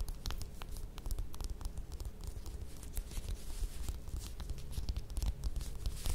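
Long nails scratch and tap the peel of a small whole mandarin orange held in the hands. A steady run of quick, dry crackling scratches and light taps sits over a soft low rumble, with no pauses throughout.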